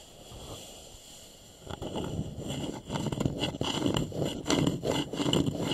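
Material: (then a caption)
Wood. A small, polished, hollow wooden bowl sits upside down over the microphones while both hands scratch and tap its curved outer surface with fingertips and short nails. After a quiet first second and a half, dense, irregular scratching begins, mixed with soft, hollow, low knocks and bright rasping.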